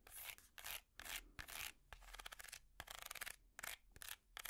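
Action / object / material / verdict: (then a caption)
scrape / woven wicker basket / wicker / none. Long metal finger picks scratch across a small, hollow woven wicker basket with a price tag attached, producing bursts of bright, dry rasping. The strokes come in irregular passes with brief quiet gaps between them, each with a crisp, papery texture and no ring afterward.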